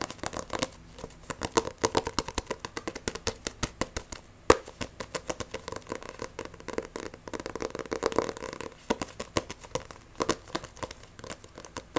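Fingernails tap fast and grip an Edens Zero paperback manga with a glossy, solid cover. A steady stream of sharp, dry clicks and short scratchy scrapes runs for twelve seconds. The bright transients die away almost instantly, with a faint midrange tone underneath.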